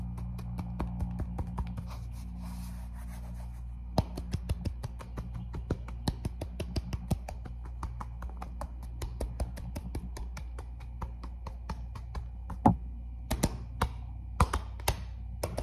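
An empty black and red athletic sneaker with a light rubber sole and black laces is held in one hand and tapped with the fingertips of the other on its upper and sole. Dozens of quick, dry, soft taps come in an irregular stream, each dying away almost at once, over a steady low hum.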